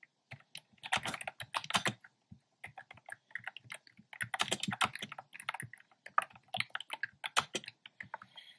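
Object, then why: Plastic keyboard with round keycaps. Fingertips type steadily on a black plastic keyboard with hollow, round, retro-style pastel keycaps. Quick, bright plastic clicks come in dense bursts separated by short pauses, with almost no low end. Each keystroke stops sharply, with no ring.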